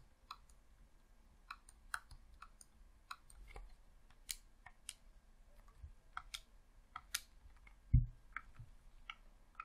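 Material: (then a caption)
Plastic. Fingertips with short nails press and click the buttons and D-pad of a hollow, red plastic Xbox controller. About seventeen sharp, bright clicks sound at irregular intervals over a quiet low hum. A heavier, louder low thump lands near the 8-second mark.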